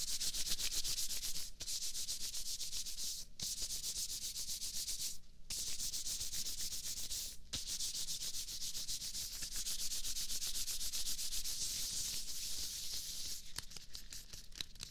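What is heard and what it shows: Hands in thin, stretchy white latex gloves are rubbed and slid together right next to a microphone's ear. A steady, bright, crinkly swishing of fast back-and-forth strokes plays throughout, with a low rumble underneath. It breaks off briefly a few times before resuming.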